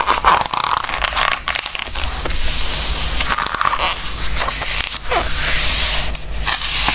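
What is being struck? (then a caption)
Glossy coated paper book pages. Fingertips press and smooth the glossy coated paper pages of a large open Christmas book resting on a wooden table, then lift and turn a page. Bright, papery rustles and crisp swishes run continuously over a faint low hum, with a sharper crackle as the page flips.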